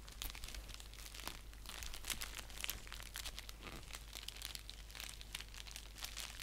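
Fingertips and nails scratch and crinkle a flat orange padded paper mailer envelope with a clear plastic section as it lies on a lap and is lifted. The result is a dense run of quiet, crisp, bright crinkles and scratchy rustles over a steady low hum.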